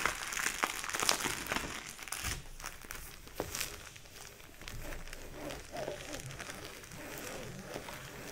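Fingers lift, flip and crinkle the plastic sleeve pages of a thick photo album. The result is a dense, bright run of crackly crinkles and sharp ticks at an uneven pace, loudest early on and then settling into softer rustling.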